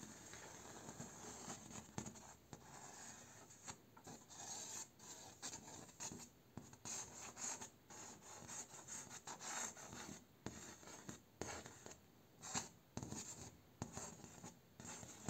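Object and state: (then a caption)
Bamboo slat door. A fingertip and a short fingernail trace and scratch along a slat of a vertical bamboo slat door panel and across its node ridges. The result is quiet, dry rubbing and raspy scratching, bright and hissy, broken by small clicks where the nail crosses the ridges, with almost no ring after each stroke.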